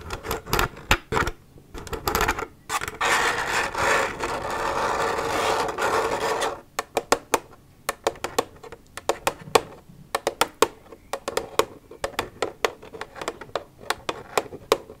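Long nails tap and rub an empty, hollow plastic milk jug. Quick clicky taps open the clip, then a steady, rasping scrape of nails across the plastic runs for about four seconds. The rest is dozens of sharp, dry taps with almost no ring and bright, crisp attacks over a thin, hollow tone.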